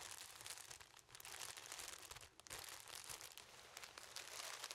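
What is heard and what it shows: Two hands hold a yellow object about 20 cm tall, tightly wrapped in clear plastic cellophane film, and the fingers squeeze and rub the wrap. This makes a steady, dense, bright crinkling and crackling. It eases briefly twice before building again.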